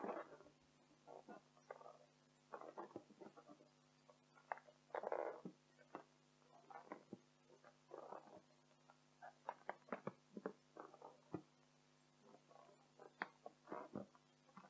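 An inflated pink latex party balloon, hollow and air-filled, is gripped with both hands and scratched with long acrylic nails across its surface. The result is quiet, irregular bursts of rubbery squeaks and scratchy rubs, mostly midrange, with some longer drawn strokes, over a faint steady low hum.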